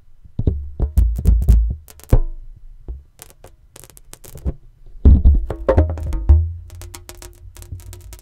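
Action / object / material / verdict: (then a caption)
tap / inflated latex balloon / latex / none. An inflated, hollow, air-filled green latex rubber balloon is held sideways over a microphone and tapped and drummed with the fingertips. The result is an irregular run of deep, boomy thumps with short decays, coming in quick bursts with brief pauses between them.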